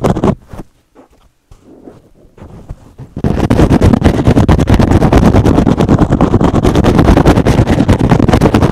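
A rectangular, hand-sized green and blue synthetic foam sponge, soft and porous, is held up with a few quiet rustles for about three seconds. It is then scratched fast with fingertips and short nails, giving a dense, rapid, steady scratching that is heavy in the low end and continues to the end.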